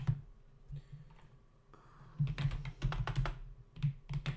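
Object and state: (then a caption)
Plastic computer keyboard being typed on. Fingertips of both hands type rapidly on the hollow keys of a full-size black plastic membrane keyboard resting on a dark desk. The taps are short, dry, low-pitched thuds with almost no ring, coming in quick irregular bursts separated by brief pauses.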